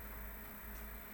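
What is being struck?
Nothing is struck.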